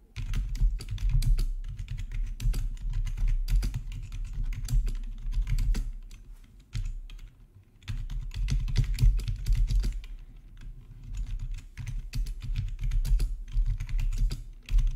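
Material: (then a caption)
Plastic. Fingertips type steadily on the black plastic backlit keys of a hollow-bodied plastic RGB membrane keyboard. The rapid, soft, muffled taps have a low, thuddy body and short clicky edges. The typing eases into brief quieter lulls around the middle before picking back up.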